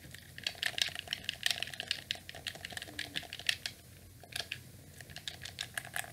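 A hand-sized, hollow black plastic wired gamepad in the PlayStation style is held in both hands while its buttons are pressed and clicked rapidly with fingertips and thumbs, and the controller is turned toward the camera. Quick, dry, bright plastic clicks come in dense irregular bursts with almost no low end. There is a brief quieter lull around the four-second mark before the clicking picks up again.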